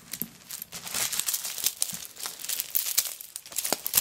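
Long fingernails scratch over a handbag made of many small coconut shell pieces lying on a tablecloth, then the fingertips and nails scrape flat across its surface. The sound is a dense, bright, crackly scratching with quick, dry clicks and almost no low end, swelling and fading as the nails move.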